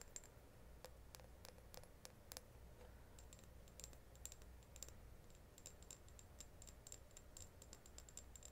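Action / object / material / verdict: tap / glazed ceramic diffuser vase / ceramic / none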